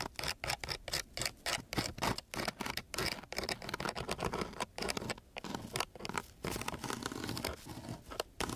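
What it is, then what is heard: Sandpaper sheet scratched with a wooden stick. A flat wooden stick is scratched back and forth across the grit of a coarse sheet of sandpaper. It makes a rapid series of short, dry, rasping strokes with a gritty, bright texture, each separated by brief gaps of quiet.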